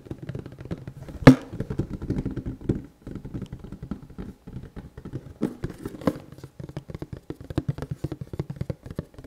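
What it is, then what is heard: Cardboard product box. A hand-sized, hollow red and black printed cardboard box for an NB-100 respirator, with contents inside, is held in one hand and turned from front to back. Fingertips of the other hand tap and scratch it in a steady stream of soft, dull, low-pitched taps and rustling scratches, with one sharper, louder tap near the start.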